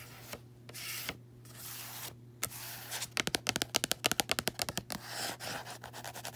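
Fingertips and long nails work over the matte textured card cover of a closed small paperback resting on a bedsheet. Soft, bright scratching and rubbing strokes come first, then a quick, uneven run of sharp, dry taps with no ring, before the scratching returns. A faint low hum stays steady underneath throughout.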